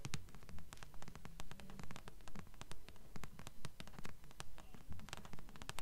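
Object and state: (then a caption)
Paperback book tapped with nails. Long fingernails tap rapidly on the glossy front cover of a thick blue paperback held upright in both hands, its pages solid paper. The taps are crisp, dry clicks with bright edges over a soft, low body, coming in a steady, even rhythm. Each tap dies away almost at once.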